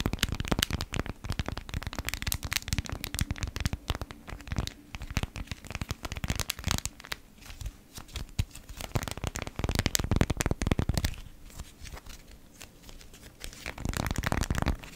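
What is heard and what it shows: A folded, thin, flexible beeswax-coated cotton food wrap sheet with a honeycomb print is held between both hands as long manicured nails and fingertips crinkle, rub and scratch it. Dense, fast crackling and rustling bursts run throughout, with sharper snaps around the middle and quieter stretches between bouts, over a low underlying hum.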